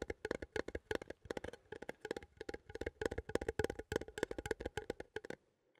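A small, hollow cylindrical metal coffee tin with a printed label is held in both hands and tapped and scratched with fingertips and nails. About 33 quick, dry taps come in uneven clusters, each with a hollow, mid-pitched tone around 445 Hz, bright scratchy edges, and almost no ring. The tapping stops just before the end, leaving near silence.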